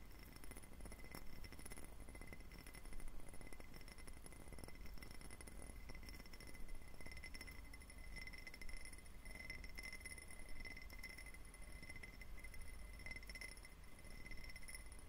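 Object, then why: Faceted glass tumbler. A clear, faceted, diamond-pattern glass tumbler, hollow and empty, is tapped with fingertips and short nails. Quick, soft, dense taps and clinks run steadily over a low rumble, with short bright glassy rings that die away almost at once.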